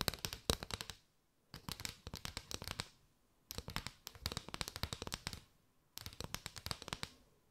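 Long white nails tap and scratch across a mat of hollow paper straws held arched with the open ends showing. Four bursts of quick, dry, bright clicks and scrapes are heard, separated by short silent pauses.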